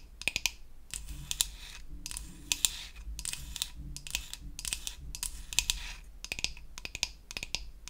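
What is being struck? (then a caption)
Painted wooden toy facial cleansing brush. Long acrylic nails tap and scratch around the button and handle of a solid, flat, pink-painted wooden toy facial cleansing brush. Quick, dry, bright clicks alternate with bursts of crisp, hissy scratching. Each tap stops short with no ring.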